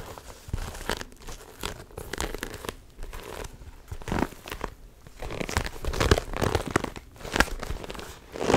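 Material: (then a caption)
Vinyl. A large, hollow, soft holographic vinyl tote bag in iridescent silver is crinkled and squeezed by hands and nails. Dense crackling and crinkling bursts swell and fade in uneven waves, with sharp, dry snaps standing out over a low rustle.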